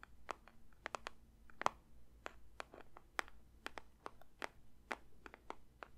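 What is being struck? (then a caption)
Paper or cardboard box. A paper box is lightly tapped with the fingers for ASMR. About 21 soft, dry, crisp taps land at an uneven pace over a low, steady background hum. Each tap stops almost instantly, with a papery tone centred near 1 kHz and a faint bright edge.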